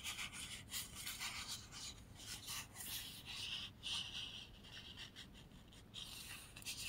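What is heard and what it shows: A thin, light, flat white sheet of paper printed with typed word strips is held up in both hands while fingertips and short nails rub, slide along and flex it. The result is a quiet, bright, hissy rustling with repeated soft scraping swells and crinkles, mostly in the high range with little low end.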